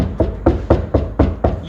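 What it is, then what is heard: Sound-deadened car door panel, solid. Six taps on the front door of a Hilux dual cab, whose inner steel sheet metal is covered with sound dampening sheets, each give a short, low, solid thud. The dead knocks decay quickly with almost no ring, showing the panel is well damped compared with the untreated back door.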